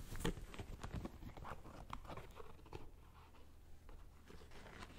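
A black and gold Nike Air Max 2090 sneaker, empty, with a metallic synthetic upper and a rubber air sole, is held and turned while fingertips tap and scratch the upper and sole. Quiet, irregular soft taps and scratchy rustles come with short, dull knocks that fade quickly, and the strongest tap comes near the start.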